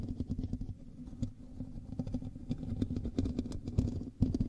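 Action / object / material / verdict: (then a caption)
scrape / metal mesh microphone grille / metal mesh / none. Fingertips and nails of both hands scratch the hollow metal mesh grille of a black USB microphone. The result is a dense, muffled rumble of quick scraping and crackling bursts, heavy in the low end with a faint buzzing tone underneath. A few sharper, louder scrapes stand out near the end.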